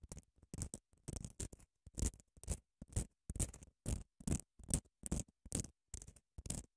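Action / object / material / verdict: scrape / padded emery nail file / emery board / none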